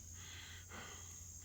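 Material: Nothing is struck.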